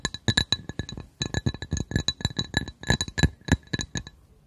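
A glass coaster is tapped in a quick, uneven rhythm, about 25 short taps over four and a half seconds. Each tap gives a dry low knock with a bright glassy clink, ringing at steady high pitches that die away almost at once.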